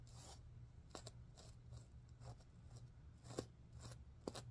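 Fingertips and nails rub and scratch the sequins on a stuffed sequin pillow, making soft, bright scratchy swipes and short rasping clicks. A steady low hum runs underneath at a quiet level.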